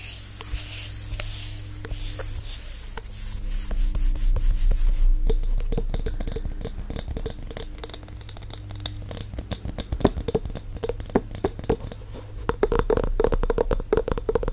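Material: Glass, wood.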